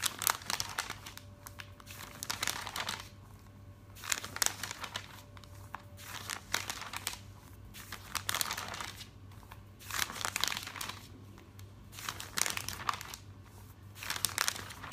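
Fingertips rub across the pages of an open glossy paper catalog on a table and flip them over, making bright, crisp crinkling and rustling in repeated bursts separated by quieter rubbing. A faint low hum runs steadily underneath.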